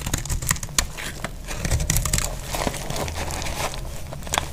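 A metal blade cuts and scrapes flakes off a solid, dry green soap bar held in the hand. It makes a steady run of dry, crisp crackling and crunching clicks with bright edges over a low, constant hum. The sharp scraping bursts cut off almost instantly.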